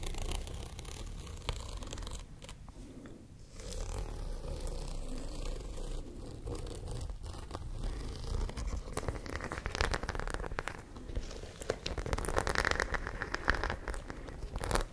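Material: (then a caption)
Fabric. Long nails scratch across the studs of a white studded zippered fabric pouch held close to the microphone. The result is a continuous, dense stream of soft scratching and crackling over a steady low rumble, with brief sharper ticks and brighter raspy bursts in the second half.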